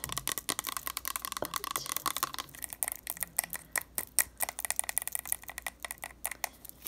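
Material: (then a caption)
Plastic. Long acrylic nails tap and scratch a medium cylindrical plastic bottle of tea tree oil with a white cap and a label, partly filled with liquid, held in the hand and worked over its body and cap. A fast, uneven run of sharp, bright clicks and dry scratching rasps sounds with almost no low end, each tap dying away instantly.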